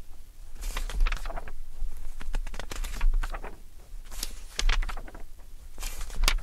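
Fingertips flip and riffle through the pages of a thick glossy-paper Vogue fashion magazine, the December 2013 issue, lying open on an orange towel. Irregular bursts of bright paper flutter and crisp page-turn rustles come and go over a steady low hum.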